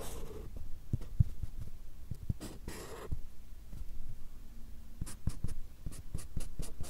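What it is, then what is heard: Pen drawing on a paper pad. The tip of a fine black drawing pen scratches across a small, solid stack of white paper or card held in one hand right in front of the recorder as it draws lines. Short, dry scratching strokes with brief bright hiss come in quick bursts over a steady low rumble of soft, dull taps.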